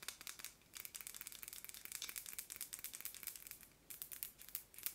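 Long nails tap and scratch the round metal lid of a scented candle tin with a paper label. The result is a quiet, bright, crinkly stream of quick, dry ticks and scrapes with almost no low end, broken by two short pauses.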